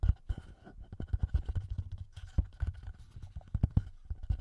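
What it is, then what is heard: Handheld audio recorder with metal mic capsules. Fingertips and short nails rapidly tap and scratch the metal mic capsules and top housing of a small black plastic TASCAM handheld audio recorder. A quick, irregular series of close, muffled low thuds is heard, with faint scratchy rustle between them. The taps are dry and end almost instantly, with no ringing.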